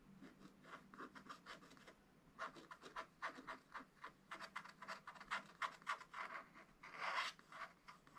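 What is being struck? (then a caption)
Wax-coated scratch-art paper page scratched with a wooden stylus. A wooden stylus held in the fingers scratches away the black wax coating of a scratch-art page in a small spiral-bound book lying flat on a table, revealing colored leaves and a bird. Quiet, dry, rasping strokes come in quick repeated bursts, centered around 1 kHz with a bright hiss above. There is a brief pause near the two-second mark, and a longer, louder scrape comes near the end.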